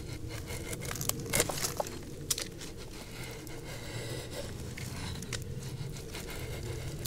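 A flat steel file or rasp, held in the hand, scrapes back and forth across the freshly shaved pale section of a large solid log with lichen-covered bark. Steady gritty rasping over a low rumble is broken by sharp, bright crackling snaps, loudest in the first two and a half seconds.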